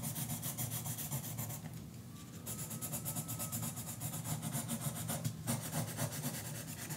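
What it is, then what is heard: Pencil coloring on a paper page. A yellow colored pencil rubs and scratches back and forth across a page of an open paperback coloring book lying flat on a counter, while the other hand holds the book. Quick, steady strokes of about four per second make a bright, papery scratching over a low, constant hum. The strokes ease briefly near the two-second mark, then continue to the end.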